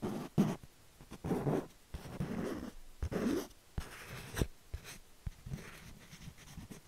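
Fingertips and nails trace and scratch across a small, thin, rigid canvas panel painted with cherry blossoms, held upright in one hand. The sound is a series of soft, dry scratching swishes in bursts, mostly low and muffled, broken by a few short, sharp clicks.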